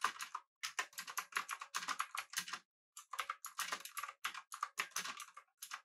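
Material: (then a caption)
Plastic. Both hands type with their fingertips on a full-size, backlit, typewriter-style mechanical keyboard with blue switches, an aluminum body and round plastic keycaps. Rapid, crisp, clicky keystrokes come in bright bursts, with two brief pauses. Each click is short and dry, with almost no low end.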